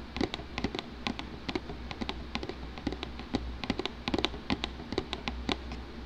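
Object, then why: Shrink-wrapped cardboard game box. Fingertips rapidly tap across the top of a closed, shrink-wrapped, medium-sized hollow cardboard Trouble board game box lying flat on a wooden table. About 27 short, dry, hollow taps are heard, each with a bright crinkly edge from the plastic wrap. The taps die away almost instantly over a low steady background hum.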